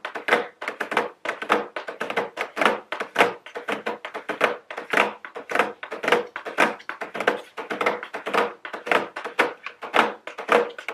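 Very long blue nails tap quickly and irregularly on a medium, square cardboard nail polish gift box with a round plastic window, held upright. The result is a steady stream of short, dry, hollow thunks with a mid-low body and a crisp, bright edge, each dying away almost at once.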